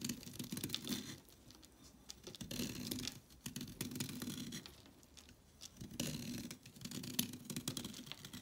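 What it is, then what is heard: Chalk stick being scraped. A blade carves and scrapes a solid orange chalk stick, leaving chalk flakes piling up. Bursts of dry, gritty scraping come and go, each a bright rasp over a low, hollow body, with quieter pauses between strokes.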